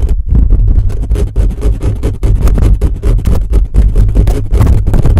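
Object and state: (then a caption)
Metal mesh microphone grille being scratched. Fingertips and nails of both hands scratch fast across the metal mesh dome of a condenser microphone's grille. The result is a dense, continuous run of rapid scraping strokes, heavy and boomy in the lows, with a brief quieter gap near the start.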